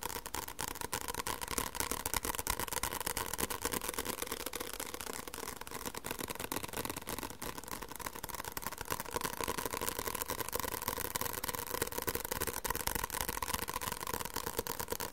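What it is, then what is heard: Paperback book tapped with fingertips and nails. Fingertips and nails tap quickly and steadily on the back cover of a white paperback book with a paper cover. The taps are short, dry clicks with a papery, mid-range tone and bright edges, running together in a dense, fairly even patter for the whole clip.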